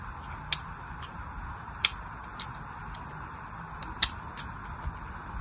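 A solid pink bar of soap held in the hand is scored with a thin metal blade, cutting cross-hatch lines into its surface. Short, bright, scratchy clicks sound at irregular intervals over a soft steady hiss, each dying away almost at once.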